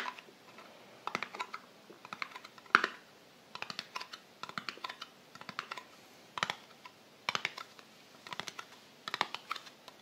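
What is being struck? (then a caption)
Small round metal cream tin. Long fingernails tap on the printed lid of a small, round, closed Balea metal cream tin, then move to its light-blue metal side rim. Quick, dry, bright clicks come in irregular bursts across the clip, each tap dying away almost at once with no ring.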